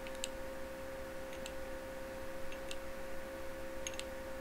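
Fingertips and nails tap and click on a small, hollow, clear glass incandescent light bulb with a metal screw base, turned in both hands over a reflective table in a dim, candlelit setting. A few faint, bright, glassy ticks come through at scattered moments over a steady low hum and background hiss.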